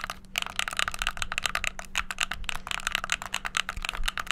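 Fingertips rapidly bash the buttons of a hollow white plastic gamepad, producing a dense, fast stream of sharp, bright plastic clicks. Each click is short and dry, with no ring, and sits over a faint, steady low hum.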